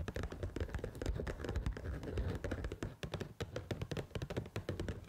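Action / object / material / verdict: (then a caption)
tap / paper instant noodle cup with sealed lid / paper / none. Long pointed acrylic nails tap and scratch the rim and sealed lid of a small, pink printed paper Pad Thai rice noodle cup that appears full and unopened. The result is a rapid, dense stream of soft, dull taps with a low thumpy body, each dying away almost at once, mixed with faint scratchy rustling.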